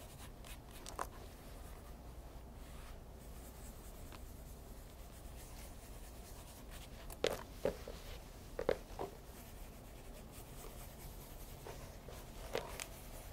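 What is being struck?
Pebble grain leather loafer with shoe tree.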